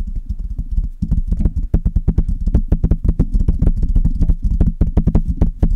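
Long red nails on both hands scratch and tap the metal mesh grille of a Blue Yeti metal USB condenser microphone. Rapid, irregular taps and scrapes come through as deep, boomy thumps centered low, with short, dry decays and faint brighter clicks on top, forming a dense, continuous patter.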